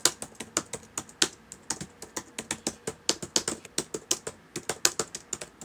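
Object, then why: Plastic laptop keyboard. Fingertips of both hands type on a solid black laptop keyboard with plastic keys, making about 31 quick, bright clicks in an uneven rhythm. Each tap is sharp and dies away almost instantly, with very little low end.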